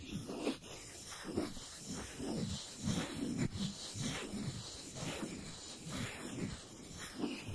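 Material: Nothing is struck.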